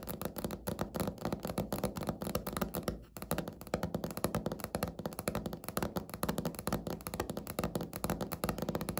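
Natural fingernails of both hands tap rapidly and continuously on a flat, solid, speckled beige laminate countertop. The taps are dull, short clicks and thunks with little high-end brightness and almost no ring, pausing briefly around the three-second mark before carrying on at a steady pace.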